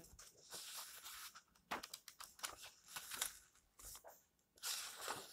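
Fingertips sweep across and turn the yellowed pages of an old paperback lying open, producing a dry, bright rustle with crisp papery bursts. Quieter stretches of soft brushing separate sharper page flips, with little low-end body.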